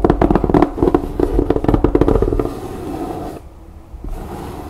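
Long nails and fingertips scratch and rub the canvas on the rim and top of a canvas-covered fabric storage bin stretched over a board frame. Quick, irregular scratching strokes come first, with a low, slightly tonal rasp. It then eases into softer, steady rubbing, with a brief hush before the rubbing resumes.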